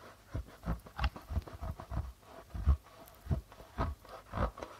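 Fingertips tap and brush the white plastic head of a hollow goblet darbuka drum near its logo. The taps come as soft, irregular low thumps with very short decay, separated by light brushing sounds across the membrane.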